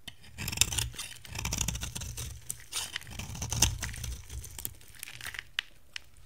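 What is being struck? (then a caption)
Bar soap carved with a metal blade. A metal cutter blade scrapes and carves flakes off a dry, hand-size, cream-white bar of soap with a pink rim, held in one hand. Crisp, crunchy scraping and tearing sounds come in uneven bursts with sharp cracks, bright on top over a low rumble.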